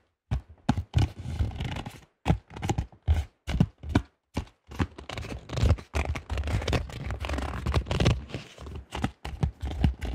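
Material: Plastic.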